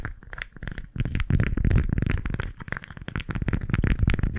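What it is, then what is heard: Beeswax-coated fabric food wrap. A pink floral beeswax-coated fabric food wrap is squeezed and crinkled by both hands near the left mic, then held flat and gripped with fingertips and nails. It makes a dense, irregular run of short, dry crackles and scratchy scrapes. The sound is heavy in low rumble with bright crinkly tips and little ring after each burst.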